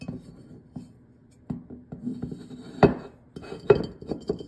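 Fingernails and fingertips tap the glossy, ribbed shell and stem area of a hollow, glazed ceramic jack-o'-lantern pumpkin with a cut-out face and a glowing light inside. About ten short, clicky taps come at an uneven pace, each with a brief mid-pitched ring that fades almost at once. Two taps near the end stand out as louder and sharper.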